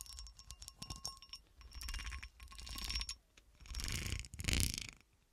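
A textured cut-glass horseshoe is scratched and tapped. Quick clinks and clicks lead into longer bright, rasping scratching passes over the ridged glass, with faint glassy ringing tones and a low rumble underneath.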